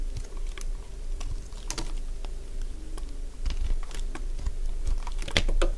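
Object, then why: Bar of soap cut with a blade. A solid cream-coloured bar of dry soap is scraped and shaved with a utility blade, giving a stream of dry, crisp crunches and short scratchy clicks. Each crunch ends quickly over a steady low rumble, and the scraping turns firmer and louder toward the end.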